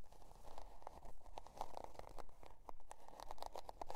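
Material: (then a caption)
Cardboard. Long dark nails scratch the scale-pattern cardboard cover of a spiral-bound notebook resting on faux fur. Quick, dry, rasping strokes repeat at a brisk, fairly steady pace, with a papery midrange crackle and a soft low rumble beneath.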